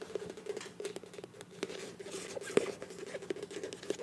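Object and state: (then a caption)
Filled plastic squeeze tube. Long nails tap and scratch the flat printed body of a filled, medium beige plastic Ambi face wash tube with a bronze cap. The result is a quiet, irregular patter of short, dry clicks and scrapes. A steady tone sits around 420 Hz, and one louder tap lands near the middle.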